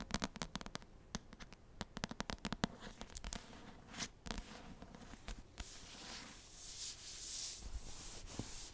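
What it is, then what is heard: Paperback book with card cover. Long nails rub and scratch the cardstock cover of an Assassin's Blade paperback book tilted toward the mic. A quick run of sharp, dry taps and scratches in the first half gives way to a steady, bright, hissing rub that swells toward the end.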